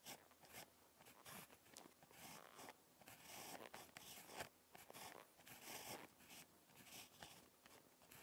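A ballpoint pen tip scratches across a lined paper notebook page during handwriting, making a quiet run of dry, bright scraping strokes. The short, uneven bursts come and go with little low end, each stopping almost at once.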